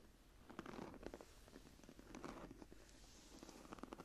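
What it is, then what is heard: Embossed leather journal cover. Long fingernails on both hands scratch and rub the textured cover of a closed, embossed leather journal lying flat. The result is a quiet, irregular series of short, dry scratchy rasps and rustles, centered in the low mids with brief brighter streaks.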